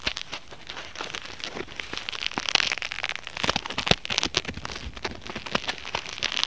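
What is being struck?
Polyethylene foam mesh fruit sleeve.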